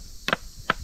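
A spot on the structure of Sudhagad fort, on the way down toward the main gate, is knocked to test how it sounds; its sound differs from a second spot knocked nearby. Short, dry, sharp knocks with almost no ring are heard: a quick double knock, then another knock about 0.4 seconds later, over a faint background hum.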